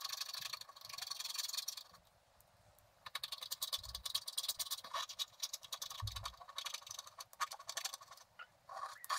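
A wooden stylus scratches across a flat scratch-art card of black wax-coated paper, revealing the colors beneath. Dense, bright, crackly scratching comes in bursts, with a quiet pause around two to three seconds before it resumes, and a few faint low thumps.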